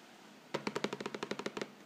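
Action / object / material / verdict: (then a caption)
tap / cardboard cracker box / cardboard / none. Fingertips and nails tap and scratch the front face of a hollow, likely full yellow Vegetable Thins cardboard cracker box. About twelve quick, dry taps fall in a rapid, even run after a quiet start. Each tap has a hollow, papery midrange thump with a brief bright edge, dying away almost at once.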